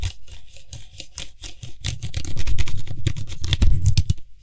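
Fingertips rapidly tap and scratch around the white hollow plastic cap of a tilted Lysol aerosol spray can. The result is a quick, irregular patter of dull, low plastic thumps layered with bright, scratchy rasps. Each sound is short and dry, and the tapping grows denser and louder toward the end.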